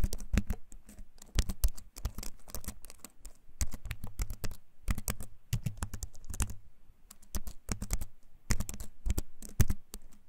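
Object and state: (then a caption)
Wooden-frame keyboard with plastic keys. A compact keyboard with a wooden frame and plastic keys is held up close and typed on with fingertips. Its clicky keycaps make bursts of sharp taps separated by short pauses, with a low, thumpy body under the bright clicks.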